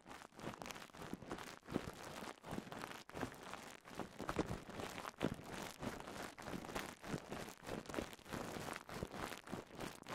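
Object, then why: Plastic bubble wrap. A rolled strip of clear polyethylene bubble wrap with air-filled bubbles is twisted and pinched between fingertips to pop the bubbles. Quiet, dense crinkling and crackling fills the clip, broken by many short, sharp pops that die away instantly.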